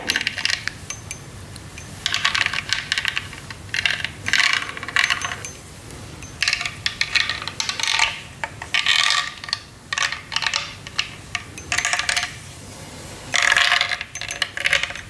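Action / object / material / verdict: tap / hollow acrylic snowman figure / acrylic / none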